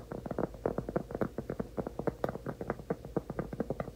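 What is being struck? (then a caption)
Round cork trivet. A large, solid, flat round cork trivet is held in both hands while fingertips and nails tap and scratch its surface. A rapid, uneven series of soft, dull taps with a hollow mid-range tone around 540 Hz stops almost instantly with no ring, and a faint scratchy texture sits between the hits.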